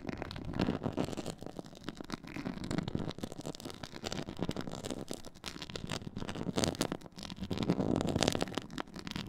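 Long nails scratch a black pyramid-textured faux leather board, making a dense, crackly rasping that swells and fades in uneven bursts. The scratching is a steady run of short, dry, scraping clicks with most of its weight in the low-mid range and little bright hiss.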